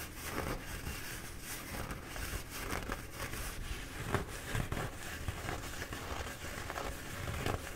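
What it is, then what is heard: Paper towel roll being scratched. Fingertips and nails scratch the embossed paper of a bee-printed paper towel roll held in both hands. The result is a steady, dense crinkling and scratching texture with a soft low rumble underneath and a few slightly louder scrapes along the way.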